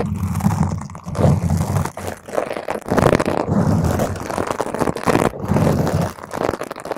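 Long pointed green acrylic nails scratch quickly over a purple spherical foam cover on a microphone. The result is a dense, crunchy, rumbling scrape with a heavy low-end thump, coming in swelling bursts with brief dips between them.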